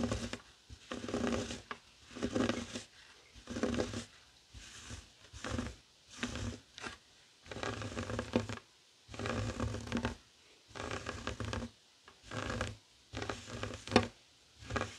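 A flat heart-shaped woven tapestry fabric coaster resting on a wooden table is scratched with fingertips and short nails. The result is a series of dry, rustling scratch strokes in bursts of about a second, separated by brief silences, with broadband texture reaching bright highs and a low hum near 100 to 240 Hz.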